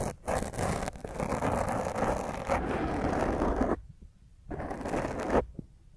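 A black foam microphone windscreen is held in one hand while the long nails of the other hand scratch across its top. This makes rough, dense scraping and rustling close to the mic. The sound is full-bodied in the low and middle range, drops out briefly twice into near silence, then returns with a final sharper scrape.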